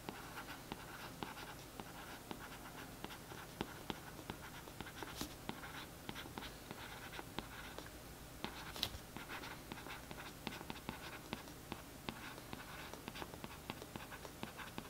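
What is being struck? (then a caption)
Glossy cardboard book cover. The tip of a thin paintbrush scratches over the printed text on the back of a glossy cardboard paperback book cover lying flat. The result is a quiet, steady, papery scratching dotted with many short, crisp ticks and a bright hiss over a faint low hum.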